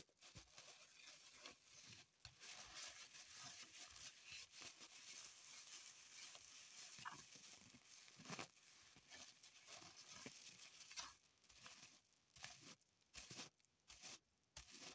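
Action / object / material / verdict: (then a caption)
scrape / floral foam block in a thin plastic wrapper / plastic, foam / none. A small solid block of green floral foam, still in its thin clear plastic wrapper and held on a table, is scratched and squeezed with long pointed acrylic nails. It makes quiet, bright, continuous crinkling and scratching with sharper bursts throughout and very little low end. The sound thins into short, broken crackles near the end.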